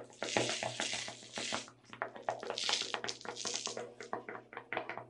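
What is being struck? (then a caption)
Plastic tub of sugar sprinkles. Long red nails tap quickly on the lid and walls of a small clear plastic tub full of sugar sprinkles, held and tilted in the hands. The result is a rapid, uneven run of bright, clicky plastic taps with a dry rattle of shifting sprinkles and only a short ring after each tap.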